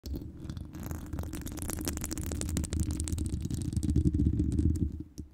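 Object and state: Metal mesh microphone grille being scratched.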